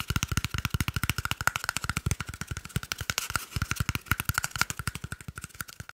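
A small, hollow, empty cardboard toilet paper tube, held in one hand, is tapped and scratched quickly with the fingertips and nails of the other hand. The result is a fast, steady stream of short, dry, hollow taps with a low thump and a faint ringing tone near 1.4 kHz, mixed with bright scratchy rasps that die away almost instantly.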